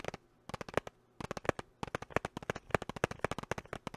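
A small clear hard-plastic box with a pink item inside is held close to the mic and tapped and scratched with fingertips and short nails. About 24 sharp, dry clicks come in quick irregular bursts with two short pauses, each dying almost at once. The tone sits in the midrange with a bright crackly edge.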